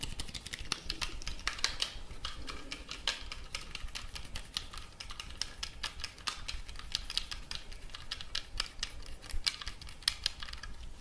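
Fingertips tap and scratch the body and antenna of a black plastic walkie-talkie radio. The result is a steady stream of quick, dry, bright clicks and scratchy rustles that die away almost instantly, over a faint low rumble.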